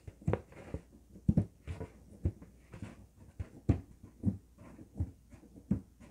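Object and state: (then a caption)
Latex balloon. Fingertips and nails rub and scratch the surface of an inflated, hollow green LED-lit latex balloon held in the hands. About a dozen soft, dull, low squeaky-thumping strokes sound in an irregular rhythm, each dying away almost at once. Faint rubbing fills the gaps between them.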